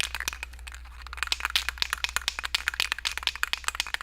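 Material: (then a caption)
Metal. A metal aerosol spray can of mold release, formulated for urethane, is shaken before use so the mixing ball inside rattles. The result is a rapid run of sharp, bright clicks and clacks. A steady low hum sits underneath.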